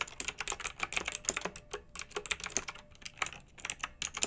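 Both hands with long nails type rapidly on a pink plastic retro mechanical keyboard with round keycaps and backlighting. The key presses make a quick, uneven stream of short, bright clicks and clacks with almost no low end, each tap dying away almost instantly.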